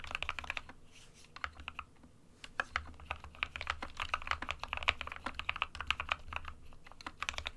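Fingertips of both hands type steadily on an SK61 compact 60% plastic mechanical keyboard with white and grey keycaps. The result is a dense run of short, bright clacks that die away almost at once. A brief lull comes around the two-second mark, and a faint low hum sits underneath throughout.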